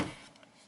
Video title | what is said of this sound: This 2022 Kia Forte GT Is The "Mini Stinger" You've Been Waiting For - Honest Review | it's a nice and solid sounding thunk right there no rattles or shakes throughout the door